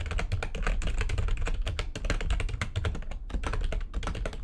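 A full-size, low-profile, backlit plastic computer keyboard on a desk is typed on quickly, its keys struck by fingertips with long nails. A rapid, uneven stream of short, bright plastic clicks and clacks rides over a steady low thump from the desk, each tap dying away almost instantly, with a brief pause before the typing resumes.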